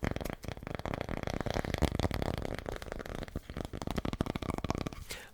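Tapping on a cork coaster, one side cork and the other painted with a city scene. It makes a fast run of soft, dull, dry taps with almost no ring, mostly low in pitch.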